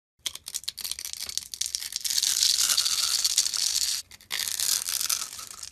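A utility blade scrapes and carves a rectangular, hand-sized solid brown soap bar held in the palm, first cutting through a pre-cut grid of small cubes. The result is a fast run of dry, bright crackling and scraping. It breaks into rapid crumbly cuts at first, then becomes a denser, continuous scrape with a brief pause near the end.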